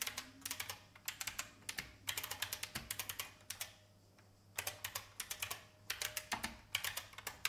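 Fingertips with long painted nails type on an old, beige, full-size IBM plastic mechanical keyboard with a hollow case. Bursts of quick, bright, clacky key taps, about forty in all, ring off almost instantly, with a short pause in the middle of the typing.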